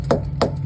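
During a pre-trip inspection, a rubber trailer tire whose air stem is out of reach is struck to listen for a hollow sound, after being aired up from 40 to 90 PSI. Three short, dull chopping thumps land over a low steady rumble, with no ring after each. The tire sounds solid and is judged properly inflated.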